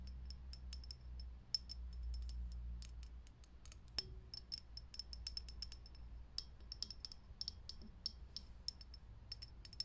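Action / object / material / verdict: tap / clear glass filament light bulb / glass / none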